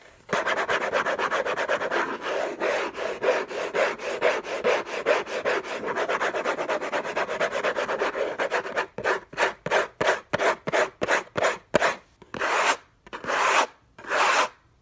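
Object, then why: Paper-covered cardboard box. Fingertips and short nails scratch the lid of a closed, long rectangular Hermès box of orange textured-paper-covered cardboard, contents unknown, lying on a fluffy blanket. For about nine seconds the scratching is fast and continuous, a dry, papery rasp centered in the mid range with no low rumble. It then breaks into slower, separate strokes with short silences between them.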